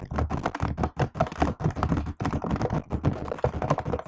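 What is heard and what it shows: A silver laptop keyboard with black plastic keys in an aluminium body is typed on fast with both hands, using fingertips and nails. The result is a rapid, steady stream of soft, dull taps and clicks that are mostly low and thuddy with little brightness, each dying away almost instantly.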